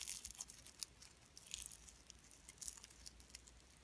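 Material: Slime and cellophane.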